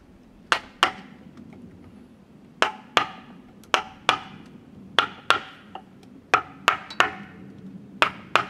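A steel chisel is driven into the cut face of a large, solid cedar log with bark, resting on a wooden sawhorse, by striking it with a wooden mallet. Fourteen sharp, dry wooden knocks come in uneven pairs and clusters, each bright and woody around 1.4 kHz and dying away almost at once. A faint low hum sits beneath the strikes.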